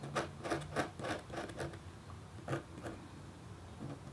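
A red-handled, metal-tipped stylus scratches across a thin, solid, flat black-coated copper foil scratch art board. It makes a quick series of short, soft scratching strokes that fade into a brief pause before a few more light strokes.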